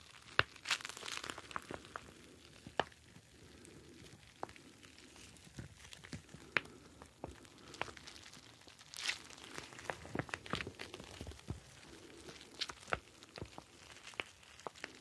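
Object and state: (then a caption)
Plastic gel bead ice pack. A clear plastic gel bead ice pack, a pouch filled with blue gel beads, is squeezed and crinkled with both hands. The result is a quiet, continuous stream of crisp plastic crinkles, crackles and short bright snaps, with many sharp ticks scattered across the clip.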